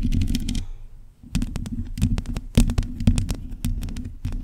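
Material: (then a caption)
Metal mesh. Long pointed nails of both hands scratch and tap the bare metal mesh grille of a black microphone. Quick, close, crackly taps and scrapes come through with a heavy, muffled low thump beneath sharp, bright clicks. The sound briefly drops to near silence around one second before the rapid tapping resumes.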